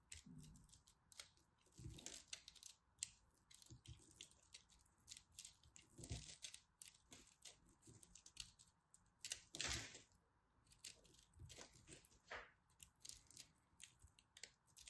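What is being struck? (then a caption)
Pressed soap ball. A small knife cuts into a solid, fist-sized mint and orange pressed soap ball, carving out chunks. The result is a quiet series of dry, crumbly scraping and crunching clicks that are mostly bright and high, with occasional soft low thuds as pieces break away.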